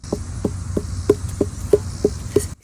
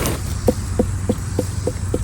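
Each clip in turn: First: Eight steady knuckle knocks on a watermelon give short, low, hollow thumps, the sound of a ripe melon. Second: Steady knuckle knocks give short, mid-low thumps that die at once: a watermelon not quite ripe yet.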